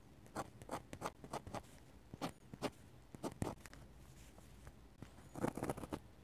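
A metal-nib dip pen scratches feather-like hatching strokes onto the white paper of an open sketchbook, held in the fingers. Quiet, dry, scratchy strokes come in quick clusters separated by brief pauses, with a faint bright hiss at the end of some strokes.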